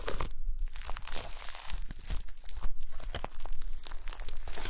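Long pastel nails and fingertips press and squish a folded mound of gold glitter slime with star confetti. A steady run of crisp, crackling pops and wet squelches fills the clip, with bright sticky snaps over a low, soft base.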